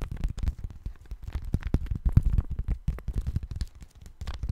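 A thin, pale-yellow paper sheet held in both hands in front of a microphone is bent, rubbed and crinkled with the fingers. It makes a dense, crisp rustle of many quick, short crackles over a soft, low, thumpy body that rises and falls in loudness throughout.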